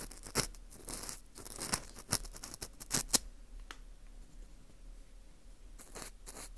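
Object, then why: Dried wheat gluten ring (fu) scraped with a plastic earpick. An orange plastic earpick scrapes inside the hole of a porous dried wheat gluten ring (fu) held in gloved hands. Dry, bright scratching and crackling is broken by sharp crisp clicks in the first half, then settles into softer, quieter scraping before picking up again at the end.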